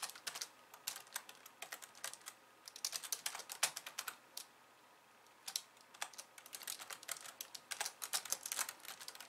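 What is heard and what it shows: Long nails type two-handed on a pink plastic slim computer keyboard with white keys. Bursts of rapid, bright, clicky keystrokes with very little low end are broken by a short pause midway before the typing picks up again.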